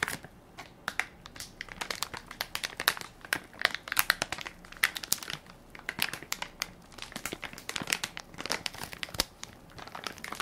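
A hand-sized Equate baby wipes soft pack made of crinkly plastic film, full of wipes and held in one palm, is pressed and crinkled by fingertips and nails. A steady stream of sharp, bright crinkles and crackles with almost no low end rises over a quiet background, with short clusters of louder snaps throughout.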